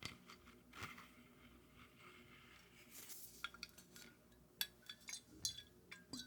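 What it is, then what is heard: Glass whiskey bottle. Fingers tap and scratch on a glass bottle of Macallan 12-year single malt scotch. Soft scratching gives way to a series of bright, short clinks with quick decay, spaced irregularly toward the end.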